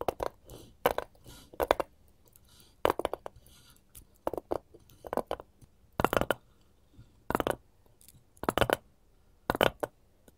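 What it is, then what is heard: Wooden cutting board. A solid, light wooden cutting board is held upright while both hands, wearing gold metal filigree claws, scratch and tap its surface. Short clusters of crisp taps and scrapes with a bright metallic edge come in bursts separated by quiet gaps, each sound dying away almost instantly.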